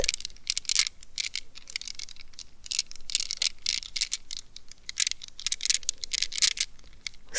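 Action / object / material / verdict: scrape / rubber squeeze ball in a plastic net / rubber / none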